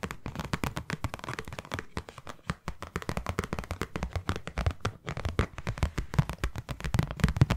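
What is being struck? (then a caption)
Small cardboard box. Long nails tap rapidly on several faces of a small white hollow cardboard box. The result is a dense run of dry, hollow taps with a low, thumpy body and almost no ring after each hit.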